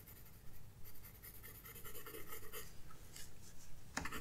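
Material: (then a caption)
Paper. A graphite pencil scratches strokes across a flat paper sketchbook page, making soft, irregular rasping bursts over a steady low rumble. Near the end, one sharper, brighter scrape stands out.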